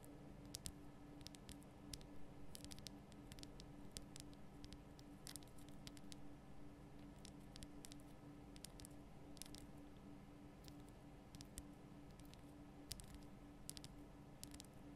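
Long painted nail tips tap and patter across a large, solid, lit pink Himalayan rock-salt lamp. Soft, quick clicks, some sharp and bright, sit over a steady low hum and faint background noise. The taps stay quiet and die away almost at once.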